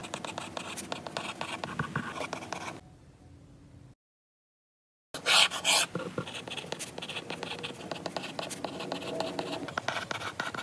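A lilac stylus writes handwritten lines across a glass iPad screen, making quick, irregular bright scratches and light taps. The writing stops near three seconds, drops to a faint hiss and then a second of silence, and resumes with a louder scratchy burst before continuing steadily to the end.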